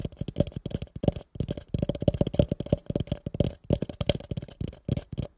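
Fingertips and nails tap rapidly on the sides of a hollow, empty, pale yellow plastic bowl held over a microphone. The sound is a dense run of short, dull, low knocks with almost no ring, broken by a few brief pauses.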